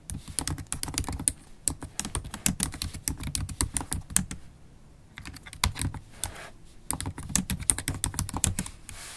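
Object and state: Laptop keyboard being typed on.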